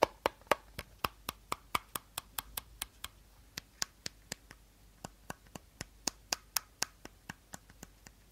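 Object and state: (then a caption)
Empty plastic bottle. Short nails tap the body and teal cap of an empty, hollow clear plastic bottle held at an angle, giving 32 quick, dry taps with almost no ring. The clicks are mid-pitched around 570 Hz with a bright edge, in a steady but uneven rhythm with brief pauses near 3 and 4.5 seconds.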